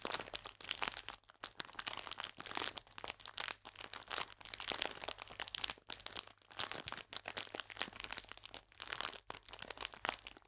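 A full, clear plastic biscuit pack is held upright and squeezed and crinkled with fingertips and long nails. It makes dense, bright crinkling with sharp little crackles in quick bursts, broken by a few brief pauses. The sound stays fairly quiet, with almost no low end.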